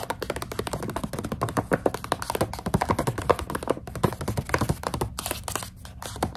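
Long acrylic nails tap fast on a full plastic snack pouch of dried coconut strips. The result is a rapid, dense run of short, dry plastic taps and crinkly thunks, each dying away almost at once, with a muffled low body and little bright hiss.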